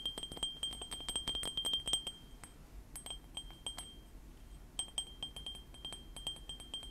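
A small white ceramic mug with Panda Kopanda cartoon prints, hollow with its contents not visible, is held beside the microphone and tapped with medium-length painted fingernails. Quick clicking taps come in bursts with short pauses between them, each giving a brief, bright, chime-like ring around 3.2 kHz that fades almost at once.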